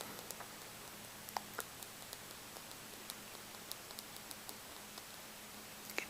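Fingers tap a polished stone egg with peach and gray striations, producing about ten quiet, sharp clicks. Each tap is bright and dies away almost instantly over a faint steady hiss.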